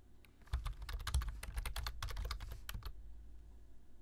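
Fingertips tap the keys of a black plastic low-profile computer keyboard while typing. A fast, uneven run of short, dry clicks begins about half a second in and stops near the three-second mark, over a steady low hum.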